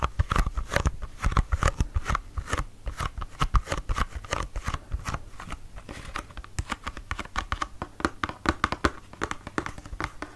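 A small, hollow pink cardboard serum box is held up and tapped and scratched with fingertips and nails along its flat sides. Quick, dry taps come in a steady, dense run, each with a low hollow thump and a brief bright click, mixed with soft scratching in between. Every hit dies away almost instantly, with no ring.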